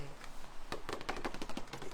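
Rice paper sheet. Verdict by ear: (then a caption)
Dry. A dry, unsoaked sheet of rice paper, the kind used for spring rolls, is tapped before being softened. It gives a quick run of light, clicky taps that sound like plastic, even though it is rice paper.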